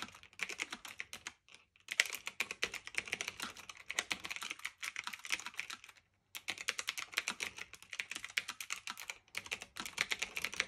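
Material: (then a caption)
Plastic, metal. Fingertips with medium-length nails type steadily on a black retro typewriter-style mechanical keyboard of plastic and metal with round keycaps, resting on a fluffy blanket. A rapid stream of short, bright, crisp clicks runs throughout, broken by brief pauses near 1.5 and 6 seconds.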